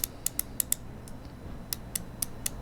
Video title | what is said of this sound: Which is a Better Rolex Submariner Homage? - Tisell Submersible vs Tisell Marine Diver | it sounds cheaper it has more back play here and the clicks are just not as solid